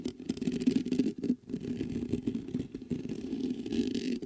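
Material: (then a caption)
Metal mesh. Fingertips scratch and rub the mesh grille of a black metal USB condenser microphone. The result is a continuous, dense scratching and rustling texture centred in the low mids around 250 Hz, with a faint brighter hiss above it and a brief lull near the 1.3-second mark.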